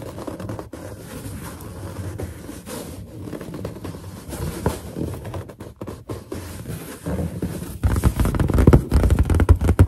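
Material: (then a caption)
Latex. Long nails tap and scratch across a large, hollow, inflated white latex balloon with its knot visible. Quick, uneven taps and scraping rubs sound dull and boomy, with almost no high end and no lingering ring. The tapping grows louder and heavier over the last couple of seconds.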